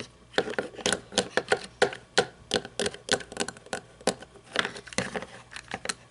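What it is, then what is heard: Toy monster truck, plastic body. Long painted nails tap and scratch the body and roof of a small red toy monster truck with plastic and chrome parts, lying on its side with its hollow body exposed. A quick, irregular series of short, dry clicks and taps with a hollow plastic tone runs throughout, each dying away almost instantly, with faint scratchy rustle in between.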